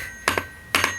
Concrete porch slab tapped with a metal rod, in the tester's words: that's hollow that probably needs to be broken up and scraped away